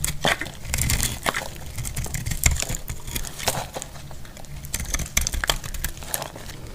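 A metal blade carves and shaves a solid, dry red soap bar held in the hand. Crisp, crackling scrapes and bright, crumbly shaving bursts come in quick irregular strokes over a steady low rumble.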